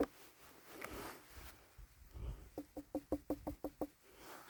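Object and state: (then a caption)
Hollow-sounding ripe pumpkin. A full-grown Black Futsu pumpkin, not quite as far along as the first one, is knocked eight times in a quick series. Each knock is a short, dull, hollow thud with a low pitch and almost no ring. The pumpkin still gives a hollow sound.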